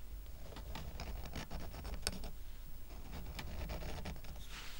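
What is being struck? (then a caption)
Stack of wooden coasters. Fingers scratch and tap the side edges of a small square stack of solid, painted wooden coasters with a red heart, tied with twine. Dry, quick scratchy taps and brief bright clicks patter over a steady low rumble. Each touch dies away almost at once.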